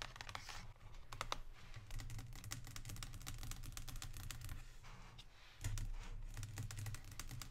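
Long pink nails tap rapidly on the front of a Lindt cardboard chocolate box lying flat on a table. Dry, sharp clicks run in quick bursts over a steady low rumble, softening briefly near 5 seconds before growing louder again.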